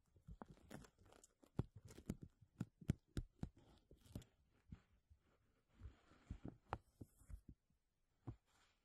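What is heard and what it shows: Fingernails scratch and fingers rub and crinkle a thin, clear plastic bag stretched over a mesh dome. About twenty sharp, irregular crackles and pops sound over a soft rustling film, quiet overall with a heavy low thump to each crinkle.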